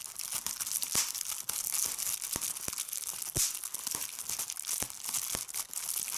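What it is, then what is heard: Plastic bubble wrap. Fingertips with red-painted nails pinch and pop individual air bubbles on a clear plastic bubble wrap sheet held up over a table. Sharp, bright pops cut through a steady high crinkling of the plastic, with almost no low end.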